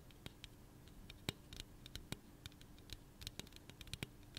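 Long nails tap and scratch the side of a hollow pink aluminum soda can held in the hand. Quiet, sharp, uneven clicks with bright, tinny edges stand out over a soft scratching hiss, and each tap dies away almost at once.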